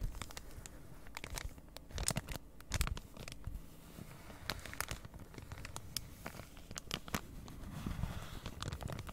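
A flat cross-stitch kit of printed card in plastic packaging is held in both hands while long red nails scratch and tap across its surface. Crinkly plastic scratches and quick, bright, dry taps with almost no ring ride over a steady low handling rumble. The rustling and tapping continue throughout.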